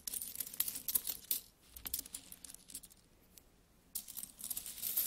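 Several solid metal coins are held between the fingers and rubbed, then picked up from a pile and dropped back. Quick, bright metallic clinks and jingles fill the first second and a half, fade to soft rubbing with a few light taps, and return as a busy clinking jangle at about four seconds.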